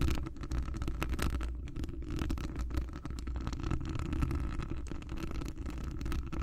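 Long acrylic nails on both hands scratch a hollow metal wire-mesh microphone grille, making a dense, continuous rasping and scraping. The close-up contact comes through as a deep, boomy low rumble with faint bright ticks, holding a steady level for the whole clip.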